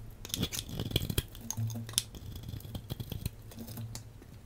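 A hand-sized, solid translucent green striped bar soap is held in the hand and sliced into thin flakes with a metal blade. The result is a rapid series of crisp, dry cutting clicks and scrapes with bright edges over a low hum.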